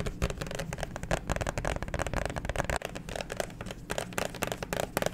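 Fingernails tap and scratch the front and back of a clear plastic liquid-glitter phone case with a black pop grip, held horizontally close to the mic. Rapid, crisp plastic clicks and scratchy strokes run continuously over a low, muffled rumble, each tap dying away almost instantly.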